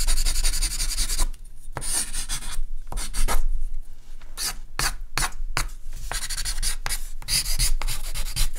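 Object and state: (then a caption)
Charcoal drawing on paper. A hand draws quick strokes and hatching with a compressed charcoal stick across a large white sheet of artist's paper lying flat on a table. Bright, dry scratching and rasping bursts come in rapid runs over a steady low hum.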